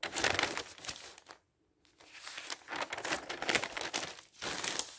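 Fingertips lift, turn and rustle a large spread of thin printed newsprint pages lying flat, making bright, papery crinkling with almost no low end. The rustling runs in bursts, falls silent for about half a second, then resumes with a brief dip before a final flurry.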